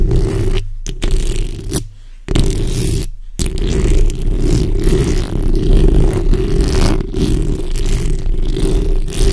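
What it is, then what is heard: Metal mesh microphone grille being scratched. Long red-painted nails scratch continuously with their backs, using both hands, across the hollow rounded steel mesh grille of a black USB condenser microphone. The result is a dense, rumbling, close-up scraping with a heavy low-end boom, briefly interrupted by a few short silent gaps early on.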